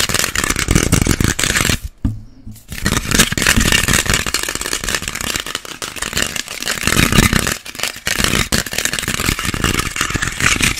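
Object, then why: Whole orange peel. A small whole orange or clementine, solid, is held in both hands and scratched fast with fingernails across the peel. The result is dense, rapid scratching and rustling with a bright edge, broken by a short quiet gap near two seconds and another brief pause near eight seconds.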